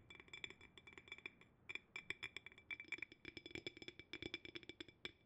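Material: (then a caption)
Glass. A clear, hollow, empty cylindrical glass jar with a wooden bamboo lid is held upside down, lid at the bottom, and tapped on the glass with fingertips and nails. About 34 quick, irregular taps give bright, glassy clinks with a ringing tone near 2.3 kHz. Each tap dies away almost at once.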